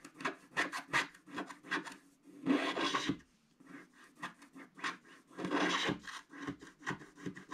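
A wooden stick stylus rapidly scratches a flat, black-coated scratch art card sheet. Quick, dry raspy strokes are broken up by two longer, denser scrapes. They form a bright, papery rubbing texture with little low end.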